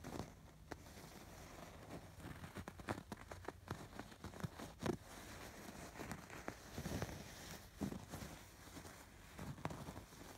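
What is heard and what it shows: Fingers scratch across the raised embroidered stitching on a soft stuffed fabric pillow. The result is a quiet series of short, dry scratching and rustling strokes, each fading almost instantly, with a soft low rumble underneath.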